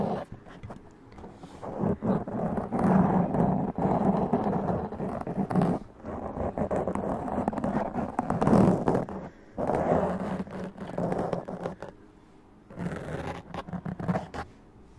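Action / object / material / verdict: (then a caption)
scrape / foam microphone windscreen / foam / none. Long press-on acrylic nails scratch and tap a black foam windscreen fitted over a large USB condenser microphone, a Blue Yeti. Dense, rough scratching bursts come in loud stretches with short quiet gaps. The sound is a muffled, low-mid rumble with a steady hum-like tone near 190 Hz and almost no bright content.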